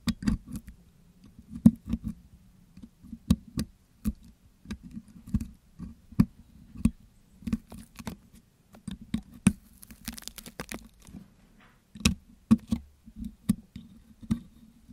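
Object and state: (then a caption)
Metal mesh microphone grille being picked. A metal pick hook scratches and picks across the hollow metal wire-mesh grille of a Blue Yeti microphone coated with wet green putty as the putty is picked and peeled off. Quiet, dry ticks, clicks and scrapes come in irregular clusters over a steady low hum. A brief, brighter scratchy rasp stands out midway through.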